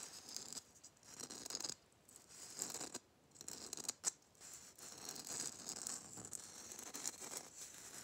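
Fingernails rapidly tap and scratch a hollow gold Christmas bauble covered in glitter, likely plastic. The result is quiet, crisp, bright tapping and scratching with little low end, coming in uneven bursts separated by brief pauses.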